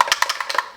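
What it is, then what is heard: Shaken sunscreen bottle. A plastic bottle of Kiehl's Super Fluid Daily UV Defense broad-spectrum SPF 50+ sunscreen, containing fluid, is shaken back and forth. The result is eight quick, dry, clicking rattles with a bright, woody tone centered near 1 kHz and almost no low end.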